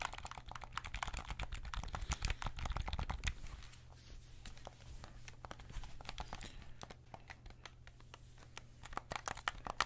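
Fingertips click the shoulder triggers and tap the shell of a white PS5 DualSense controller made of hollow plastic, held up close. A rapid, irregular run of sharp, dry plastic clicks and light taps sounds over a steady low hum, each click dying away almost instantly.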